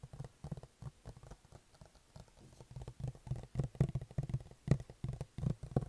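Fingertips tap the sides and lid of a closed, hollow white cardboard iPad box held at face height. The taps are soft, dull and low, in quick uneven bursts with a hollow resonance around 137 Hz that dies away almost at once. They grow louder in the second half of the clip.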